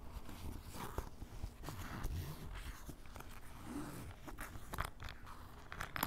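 Fingertips and a white ballpoint pen scratch and tap the top of a grey canvas fanny pack lying on a table, its fabric soft and hollow. Quiet, continuous rustling scratches mix with short dull taps, mostly low in tone, with a few brief brighter clicks toward the end.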